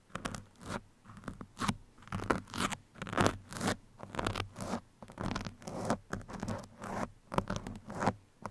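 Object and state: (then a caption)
Foam microphone windscreen scratched with metal pins. Two metal pins held by fingertips scratch and poke both sides of a soft, porous black foam windscreen on a microphone. Irregular bursts of dry, crunchy scraping come about once a second, each with a low, muffled body and faint bright edges, separated by brief quiet gaps.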